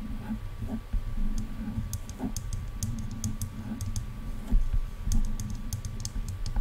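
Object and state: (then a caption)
Plastic headphone ear cups. Long dark nails on both hands tap and click against silver hollow plastic headphone ear cups. Soft, hollow low thuds mix with short, bright clicks in a quick, irregular patter, with a faint steady tone underneath throughout.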